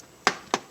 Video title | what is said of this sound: Umarex SA-10 Review [.177 Caliber] | It sounds hollow, well not hollow, but it sounds like there's space in some areas.